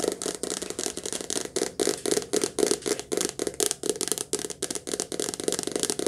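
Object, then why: Softcover paperback book with glossy card cover. Long nails tap quickly and unevenly on the glossy card cover of a softcover paperback book, held sideways and then upright. Each tap is a short, dry click with a papery rattle, centered near 420 Hz with bright, crisp highs and very little low end.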